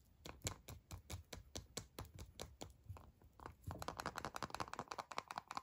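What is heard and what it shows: A small hollow Kinder Surprise chocolate egg in printed aluminium foil is held in both hands while fingertips and short nails tap and scratch its foil surface. Quick, dry, soft taps come first, spaced at an even pace, then give way to a denser, faster run of crinkly foil scratching with a brighter rustle.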